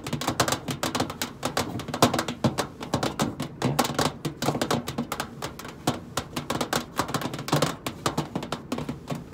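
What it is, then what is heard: Stainless steel microwave side panel tapped with nails. Long pointed nails tap the side panel of a hollow stainless steel microwave casing, one finger at a time, in a quick, uneven run of sharp clicking taps. Each tap is bright and dies away almost at once, over a faint hollow, low-pitched body from the casing.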